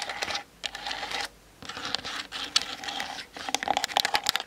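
Long nails tap rapidly on the sides of the hollow plastic body of a Canon DSLR on a tripod, picked up by the camera's built-in mic. Quick, bright, clicky taps come in dense bursts separated by short pauses, each tap dying away instantly with no ring.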